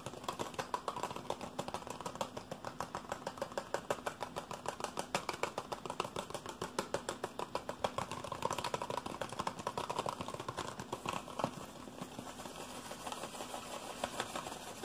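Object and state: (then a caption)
Cardboard box. A small, hollow white printed cardboard box with a gold ring graphic is held in one hand and tapped and scratched quickly with the fingertips and nails of the other. The result is a fast, steady stream of short, dry taps and scratchy rasps with a papery, mid-range tone and almost no ring after each hit.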